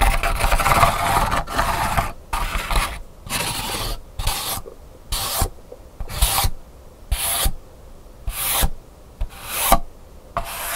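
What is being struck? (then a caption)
Pleated paper hand fan. Fingertips and nails rub and scratch along the pleats of a colorful pleated paper hand fan with a plastic handle, opened flat on a table. The sound is a dry, papery rasp in short bursts separated by brief quiet pauses: continuous at first, then more spaced-out strokes.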